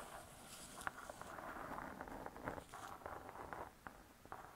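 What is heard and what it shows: Long nails scratch the cardboard cover of a spiral-bound hardcover cookbook lying flat. The result is a quiet, dry, continuous scratching centered in the midrange, broken by brief sharp ticks that die away almost instantly.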